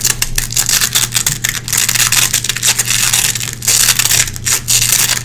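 Long red-painted nails scratch and pick across a small gray nylon velcro hook patch resting on a wooden floor. The clip is a continuous run of bright, rasping scratches in quick uneven bursts, with a steady low hum underneath.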